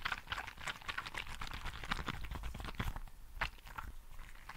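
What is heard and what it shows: A green translucent squishy frog toy filled with gel beads is squished and rubbed with both hands. It makes a dense run of short, wet crackling and squelching clicks with bright bead snaps over a soft low rumble.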